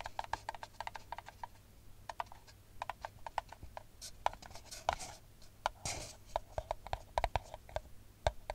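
Long nails tap rapidly and irregularly on an empty brown paper cup held upside down, producing dozens of short, dry clicks with a hollow, papery tone around 640 Hz. Brief scratchy, rustling brushes of the nails across the paper are also heard, over a faint steady low hum.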